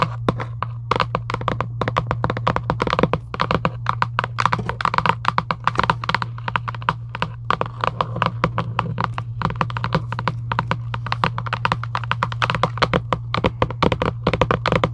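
Long acrylic nails tap rapidly and continuously across the hollow cardboard of a Giant UNO game box lying flat. The taps are short and dull, with a hollow knock around 1 kHz and almost no ring, over a steady low hum throughout.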